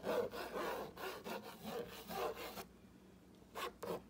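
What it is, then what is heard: Fingernail scratching on a wooden plank sign. A fingertip with a short painted nail traces and scratches along the printed letters of a flat, solid whitewashed wooden plank wall sign reading "grateful hearts gather here." Dry, raspy scratching strokes run almost continuously for about two and a half seconds, fall quiet for a moment, then return as a couple of brief, bright scrapes.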